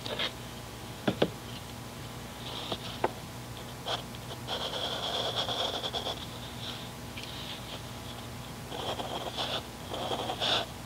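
A mechanical pencil scratches and draws strokes across the surface of a grid paper notebook lying flat, with an eraser lying idle at the side. A few sharp clicks early on give way to longer bright, hissing scratches. The strokes sit over a faint steady low hum.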